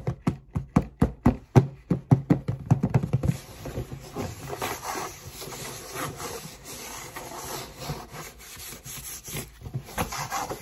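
Long nails tap quickly on the lid of a black cardboard Converse shoebox, making a fast run of dull, low, woody knocks for about three seconds. The tapping then gives way to a softer, steady scratching and rubbing across the cardboard. At the end, the lid is lifted open.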